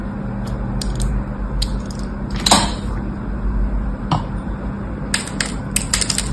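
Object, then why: Bar of soap cut with a small blade. A small blade scratches cross-hatch cuts into the surface of a solid orange bar of soap held in the hand. Short, bright scraping ticks come in scattered bursts over a steady low hum near 200 Hz, with one louder, longer scrape in the middle.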